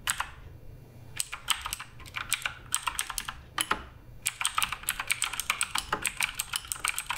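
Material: Plastic.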